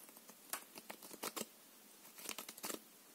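A full deck of plastic-coated paper playing cards is held in the hands and riffled along the edge with the fingers. Quick, dry, bright flicks and crisp snaps come in two short flurries separated by a quiet pause, with almost no low end and no lingering ring.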